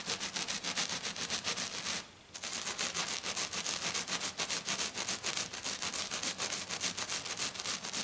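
Long dark nails of both hands scratch rapidly back and forth across a flat silver glitter foam sheet, making a fast, steady run of bright, hissy, rasping strokes. The scratching stops briefly around two seconds in, then resumes at the same quick pace to the end.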